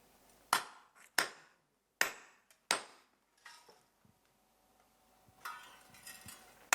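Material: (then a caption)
Iron. A hot iron bloom, made by remelting the year's recovered iron in a bloomery furnace at Guédelon, is struck with a hammer during shingling. Several sharp, bright blows each fade within a fraction of a second, with softer scraping and knocks between them. The iron sounds dull rather than ringing.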